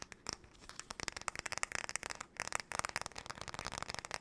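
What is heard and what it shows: A flat, paddle-shaped solid-wood hairbrush is held sideways while long nails tap and scratch its back and handle. The result is a fast, irregular run of sharp, dry clicks and scratchy rasps, bright and crisp with almost no low end. Each click dies away instantly.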